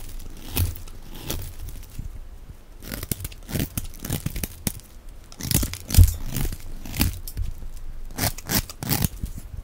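A solid, dry, hand-sized white Evyap soap bar held in the hand has its end scraped and shaved into thin curls with a box-cutter blade. Repeated short, crisp scraping and tearing strokes with crunchy crinkles carry a bright hiss over a low, dull body.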